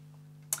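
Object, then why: Fibreglass spade rudder. A lightweight hammer taps once on a fibreglass (FRP) spade rudder during percussion testing for hollow or delaminated areas, blisters and voids. The tap is a short, bright click with most of its energy in the high frequencies, and it dies away almost at once over a steady low hum.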